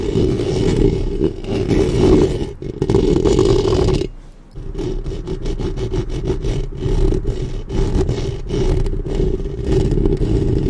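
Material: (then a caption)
Metal mesh. Long painted nails scratch and rub the hollow metal mesh grille head of a black Blue Yeti-style studio microphone with both hands. The result is a dense, steady rasping scrape with a heavy low rumble and a humming tone near 390 Hz. There is a brief quieter pause around the four-second mark, then the scratching resumes.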